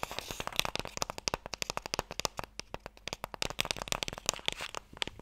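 A long, narrow, light wooden Mikado box, hollow and held in both hands, is tapped fast with fingertips and nails. Around thirty sharp, dry, bright clicks follow one another in an uneven rapid patter, each dying away almost instantly with little low end.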